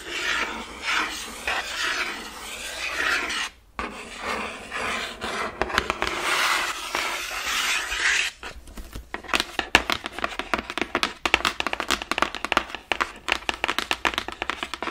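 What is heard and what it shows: Fingertips and nails rub and scratch the front of a large printed cardboard Ring Fit Adventure box. For about eight seconds there is a steady, bright, raspy rubbing with a brief pause near the middle. It then turns into a rapid run of short, sharp scratching strokes.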